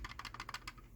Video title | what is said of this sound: Why I Don't Like Chamberlain/LiftMaster and What I Recommend Instead | these ones, it's just loose. Like, these clips don't seem to fit together as tightly